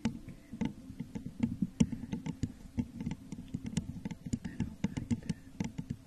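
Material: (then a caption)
Glass. Long nails tap and scratch with both hands on the sides of a clear, crackle-textured glass jar that is hollow, empty and set upside down over a microphone. A steady patter of quick, dry clicks with short scraping strokes follows, mostly low and hollow-sounding with brief bright edges and almost no ring.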